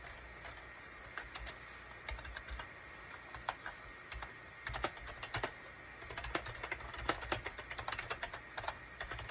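Fingertips type on a full-size gray and cream SHIPADOO K600 wired USB plastic keyboard with a hollow plastic case, resting on a desk mat. Quick, dry, hollow-sounding key clicks come in uneven bursts, growing busier and denser in the second half. Each tap dies away almost instantly over a faint, steady background tone.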